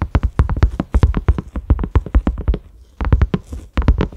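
Fingertips and short nails of both hands tap quickly on a large round cream silicone lid with concentric ridges and a grey knob. The taps are soft, dull, low thuds that die almost instantly, with a brief pause before the tapping resumes.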